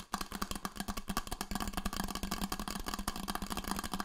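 Fingertips and nails tap and scratch the painted surface of a red insulated Coldest stainless steel water bottle with a white band, held in both hands. A rapid, uneven run of short, dry taps rides over a low, steady hollow tone and bright scratchy noise. Each tap dies away almost at once.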